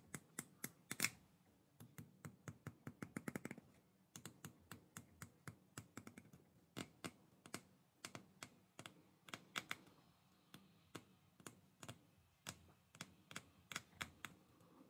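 Fingertips and nails strum and flick across the rows of long plastic bristles on a black plastic hair brush held close to the microphone. The result is dozens of short, dry, bright clicks and scratches in quick, irregular bursts, each dying away almost instantly, sounding much like fast typing on a keyboard.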